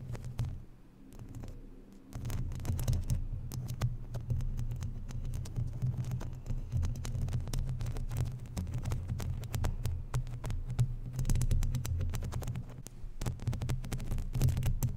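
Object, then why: Metal mesh microphone grille. Long natural nails scratch and rub across the round, hollow, uncovered woven metal mesh grille of a microphone. This produces a dense, throbbing low rumble centered around 86 Hz, broken by rapid scratchy crackles. After a quieter first two seconds, the scraping settles into a steady, uneven patter.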